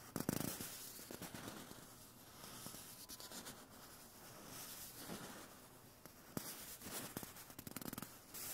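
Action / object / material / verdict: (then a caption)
scrape / cardboard toilet paper tube / cardboard / none. Fingertips tap and scratch a small, hollow, empty white cardboard toilet paper core held up close. Quiet, dry scratching and rubbing run throughout, broken by a few sharp, short taps that die away almost instantly. The taps cluster near the start and again toward the end.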